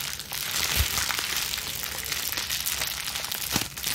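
A small wad of clear plastic bubble wrap, cupped in both hands with long nails, is squeezed and scrunched. It gives a steady, bright crinkling and crackling, with a few louder crunches standing out along the way.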